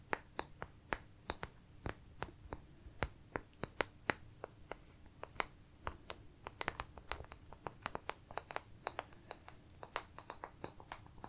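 Pieces of wood are tapped and handled in an irregular stream of short, dry, bright clicks that stop instantly with no ring. The taps are quiet overall, with a few sharper ones standing out. A faint, steady low hum runs underneath.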